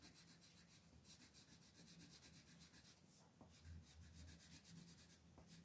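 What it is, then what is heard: Colored pencil shading on paper. A red wooden colored pencil, held in fingers with long pink nails, rubs its lead across a thin paper sheet of a coloring book lying flat on a table in continuous shading strokes. A soft, papery scratching rasp pulses back and forth at a quick, fairly steady pace, bright and hissy up high with a low rumble underneath. There is a brief lull just past the midpoint before the strokes resume.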